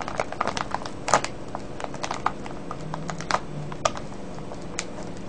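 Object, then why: Plastic cellophane candy bag. Fingertips and nails crinkle and scratch a full, clear plastic cellophane bag of wrapped candies. Quick, sharp crackling ticks and bright scratchy bursts come in an uneven stream over a soft low background.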